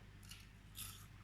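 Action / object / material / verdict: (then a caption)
scrape / baked nettle leaf chips / dried leaves / crisp. Nettle chips are handled and crunched, giving two short, crisp crackling bursts with bright high-frequency texture over a low steady hum. The chips sound audibly crispy.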